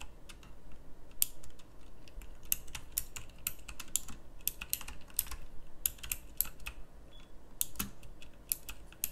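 Fingertips with long nails type on a pink backlit mechanical keyboard with round plastic keycaps. The result is a steady stream of sharp, bright clicky keystrokes with very short decay, heard over a constant low rumble.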